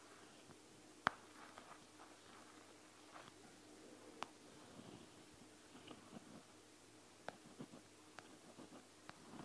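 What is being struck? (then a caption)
Plastic gel bead eye mask. A single fingertip and nail tap and press the plastic gel beads of a panda gel bead eye mask, made of plastic and gel beads. Five sharp, bright clicks stand out, with soft squishy pressing and faint crackling between them, all at low volume.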